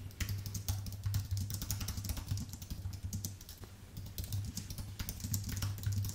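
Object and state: Plastic and aluminium keyboard being typed on.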